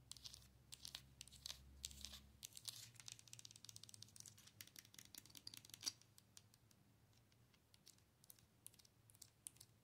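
Long nails tap and scratch the face and body of a hollow, glowing plastic owl night light held up close. Quick, dry, bright clicks and scrapes come in dense, quiet bursts over a faint low hum for the first couple of seconds, with one sharper tap standing out near the middle.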